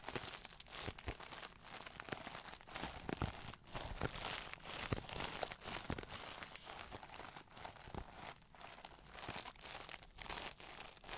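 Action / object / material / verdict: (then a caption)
tap / clear plastic brush case / plastic / none. Long nails tap and scratch a clear plastic Tarte brush case holding pink brushes, with a glitter back panel, close to the mic. The result is a steady, irregular stream of quick bright clicks and crinkly scraping over a soft, dense rustle, with short dry taps that stop almost instantly.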